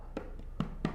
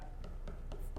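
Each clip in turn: First: Three soft, low finger taps on a wooden bass body thud dully where the wood has been routed hollow. Second: Light, short finger taps on a bass body give dry, tight clicks, the sound of solid wood.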